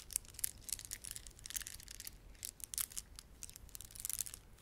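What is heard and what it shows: Fingertips rub and press the beads of a red, blue and white plastic beaded ornament. Quiet, bright clicks and crackles come in quick bursts over a faint low rumble.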